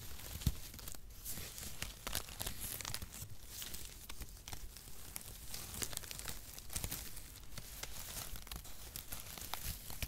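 A clump of light, hollow, mesh-like brown cut cardboard packaging shreds is crumpled and rubbed between the hands close to a microphone. It makes a steady, dense dry crinkling and crackling with tearing-like rustles and sharp bright snaps over a soft low rumble, lasting the whole ten seconds with no pauses.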